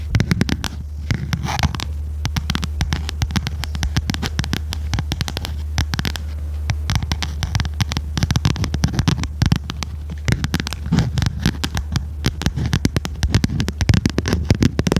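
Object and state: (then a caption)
Spiral notebook with stiff cover, tapped and scratched with fingernails. Long red nails tap and scratch the stiff, glossy cover of a small red notebook with metal spiral binding, held upright in front of the mic. A dense, continuous run of quick, dry taps and scratches sits over a steady low hum throughout.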